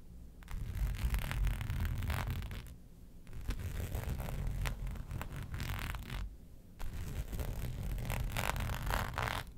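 Long nails scratch the raised hexagon texture of a flat black embossed faux leather sheet resting on a fur rug. Dense, rapid rasping and scraping comes in three sustained bursts separated by brief pauses, with a heavy low rumble beneath bright scratchy streaks.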